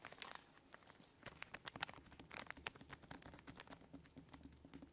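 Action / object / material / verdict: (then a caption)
scrape / plastic zip bag filled with kinetic sand / plastic, sand / none. Fingertips and long nails press, squeeze and crinkle a clear, hand-sized plastic zip-lock bag full of orange kinetic sand. The result is a quiet, continuous stream of bright plastic crinkles and sharp little nail clicks and taps, each dying away almost instantly. A faint low hum runs steadily underneath.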